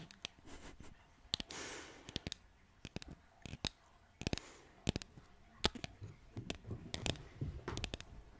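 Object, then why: Painted wooden cutout sign. Long nails tap repeatedly on a flat, solid green painted wooden bottle cutout sign. The result is a quiet series of sharp, dry, bright clicks that die away almost instantly, with a few soft brushing swishes between the taps.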